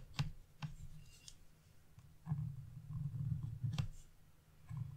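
A narrow metal chisel tip scratches small leaf areas into a flat black-coated scratch-off art page resting on a wooden table, using short strokes. Five sharp, dry scratches with bright edges stand out over a steady low rumble, with softer scraping between them.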